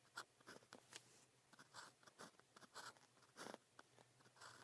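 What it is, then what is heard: Ballpoint pen writing on thin paper. A blue plastic ballpoint pen with a small metal tip, held in the fingers, writes Chinese characters on thin practice paper printed with a red calligraphy grid. Short, quiet, dry scratching strokes come in quick, uneven bursts, bright and hissy with almost no low end and no ring after each stroke.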